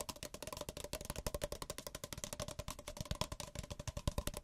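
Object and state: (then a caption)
Paper cup. Fingertips rapidly tap the sides and bottoms of two identical small, hollow, empty white paper cups, one held in each hand. About 30 quick, dry, hollow taps follow one another, each with a soft low thump, a faint steady tone in the middle, and a brief bright edge that dies away almost at once.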